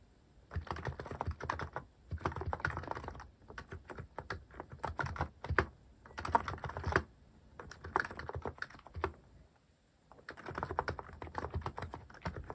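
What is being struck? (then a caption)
Mechanical keyboard with plastic keycaps. Fingertips type on a cream mechanical keyboard fitted with sculpted plastic cat and paw keycaps. Rapid bursts of clacky keystrokes, with deep thocks and brighter clicks, are separated by short pauses, and each stroke stops quickly.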